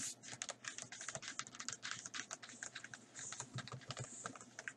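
Fingertips and nails tap and drum on the blank paper pages of an open paper sketchbook lying flat on a table, a flat solid stack of sheets. A fast, uneven run of crisp, dry taps with a bright, papery tick and very little low end, each tap dying away almost instantly.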